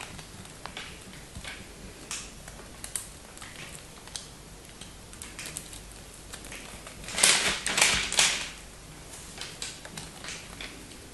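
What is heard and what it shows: A dark knife cuts and chips at the edge of a hand-held solid teal bar of soap with white stripes, and fragments fall off. Light, bright crisp clicks and scrapes tick along irregularly, swelling into a louder burst of dense crunching near the end before settling back to soft chipping.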